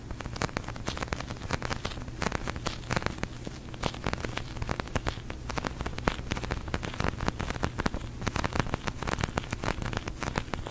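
A large pink sticky polyurethane foam squishy toy is rapidly tapped and scratched with long nails. Dense, fast sticky crackles and taps run continuously over a low steady hum.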